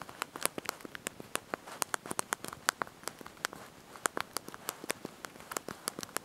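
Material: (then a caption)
Plastic. Thumbs and fingertips press and tap the small backlit plastic keys of a handheld slide-out mobile phone's QWERTY keyboard while typing a message. About thirty quick, dry, bright clicks come in an irregular typing rhythm over a soft background. Each click dies away almost at once.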